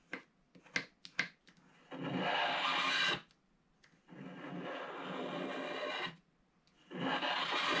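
A wooden stylus scratches the remaining black coating off the top right of a flat black-coated scratch art card. Five short, sharp scrapes come first, followed by three long, steady, bright rasping strokes separated by brief pauses.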